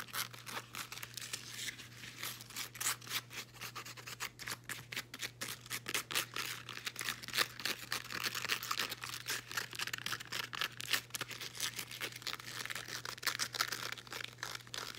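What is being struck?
Woven elastic fabric resistance band.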